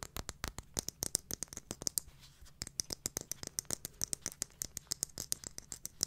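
A small, round, silver glitter-covered jar with a lid, likely hard plastic or metal, is held in both hands and tapped and scratched with long manicured nails. Dozens of quick, bright, dry clicks follow one another rapidly, with a short stretch of softer scratching around the middle. Each tap dies away almost instantly, and there is little low end.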